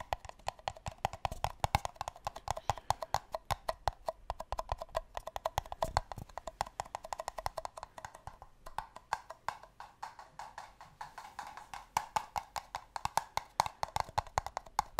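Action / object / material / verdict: tap / paper cups / paper / none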